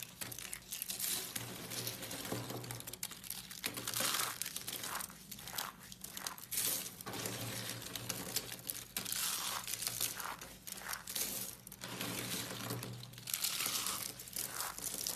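A pile of small, hollow, yellow dried soap curls on a white surface is crushed and rubbed between the fingertips and palms of both hands with long pink nails, crumbling into flakes. A dense, bright crinkling and crunching runs almost continuously, swelling and easing with each squeeze.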